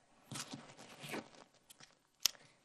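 A plastic bottle of carbonated soda is shaken a second time, giving bursts of bright, high-pitched fizzing and sloshing hiss over soft crackles. A sharp click follows near the end, and the fizz confirms the contents are soda rather than water.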